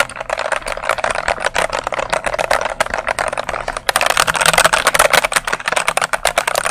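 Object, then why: Plastic mechanical keyboard keys. Fingertips with long nails press and tap the plastic keycaps of a full-size dark mechanical keyboard held up close, typing quickly. The result is a dense stream of sharp, clacky mid-range clicks that grows louder and brighter about halfway through, over a faint low hum.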